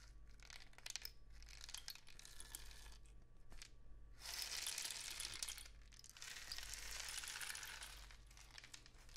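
A long, hollow cardboard rain stick painted with suns and dots is held diagonally and tilted, shaking its loose filling inside. Scattered light ticks and crackles are followed by two sustained, bright, hissing cascades as the filling streams down the tube, over a faint steady low hum.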